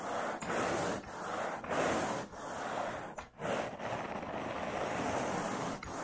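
A long-handled carpet grooming rake with a wooden pole and a dark bristle head is dragged back and forth across wall-to-wall light beige synthetic pile carpet. It makes a steady, breathy scraping rush of rubbing fibers, broken by short dips in loudness as each stroke changes direction.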